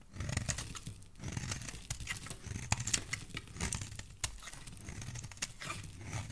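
A metal utility blade scrapes the corner and edges of a solid pink rectangular bar of soap held in the hand, curling off shavings. The sound is a run of dry, crisp scraping strokes with bright, hissy crackle over a soft low rumble. Each stroke stops short, with no ring afterward.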